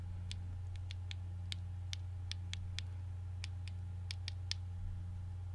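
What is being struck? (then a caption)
Ice cubes in a glass bowl. Fingers stir a clear glass bowl full of ice cubes, clinking the cubes against the glass. Brief, bright, scattered clinks ring out over a steady low hum throughout.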